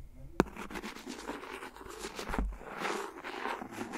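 The back end of a clear plastic pen taps and scratches along the edge of an empty, hollow, thin clear silicone phone case lying flat on top of the recorder. A sharp tap near the start gives way to a steady, soft scratching and scraping with faint crackle, broken by a duller low knock partway through.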